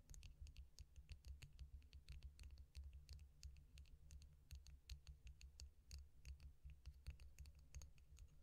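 A long, thin, hollow stainless steel drinking straw, held up in one hand, is tapped and scratched along its length with long painted nails. The result is a quick, irregular series of sharp, bright clicks and scrapes that die away almost instantly, over a steady low hum.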